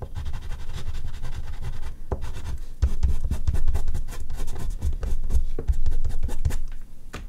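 An oil pastel stick is rubbed across a large flat sheet of artist's paper resting on a board, with a hand on the drawing throughout. A steady, low, scratchy rubbing is broken by quick sharp strokes that carry a bright edge. The strokes grow louder and more clustered partway through before easing off at the end.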